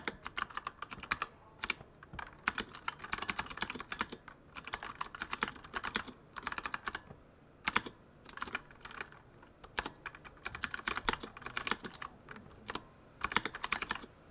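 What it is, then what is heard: Plastic mechanical keyboard being typed on. Fingertips type rapidly on the RGB-lit plastic keycaps of a full-size Razer Huntsman mechanical keyboard with a solid body. Dense bursts of short, bright clicks and clacks come in quick runs with brief pauses between them. Each keystroke is crisp and dies out almost instantly, with little low-end thump.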